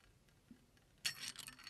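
A large, thin, hollow, empty brown chicken eggshell, already broken open, rests in a blue-striped ceramic bowl and is cracked, crushed and rubbed by fingers, some sound possibly coming from the shell touching the bowl. After a near-silent start with one faint tick, a sudden bright, crisp crackle breaks out and continues as dense, high, brittle crunching and rustling.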